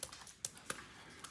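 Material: Poultry skin.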